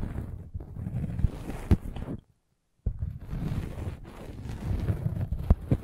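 A metal-spiked derma roller is rolled over a red velvet bag covering a microphone, making a muffled, low, rumbling scrape with occasional sharper knocks. The rolling stops for a brief silence just past the two-second mark, then resumes with the same dull, bass-heavy brushing texture.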